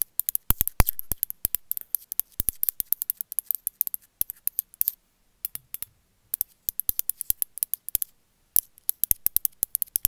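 A small gray glazed ceramic cat figurine, held in the hand, is tapped and scratched with long metallic nails. The result is rapid, irregular, sharp bright clicks with faint scratchy texture, each dying away almost instantly, broken by brief pauses near the middle and later on.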